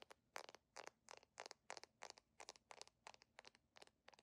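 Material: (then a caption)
Soft plastic. Long nails scratch and rub the footbed, bow and sole edge of a beige jelly plastic sandal. The result is a steady run of short, dry, crackling scratch bursts with bright highs and no low end. Each burst cuts off without ringing.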